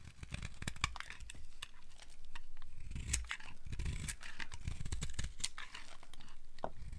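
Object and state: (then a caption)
Dry soap bar being scraped. A metal blade scrapes across the surface of a solid, dry black soap bar, shaving off brittle flakes. The result is a steady run of dry, crunchy scraping and crackling with sharp bright ticks over a low rumble.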